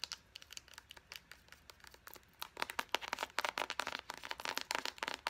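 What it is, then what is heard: Plastic lotion squeeze tube. Long painted nails tap and scratch on a small, hollow, partly full plastic squeeze tube of Pacifica vanilla lotion and its white cap. The sound is a run of quick, crisp clicks and scratches with a slight tonal ring near 900 Hz. The taps start sparse and quiet, then become denser and louder after about two and a half seconds.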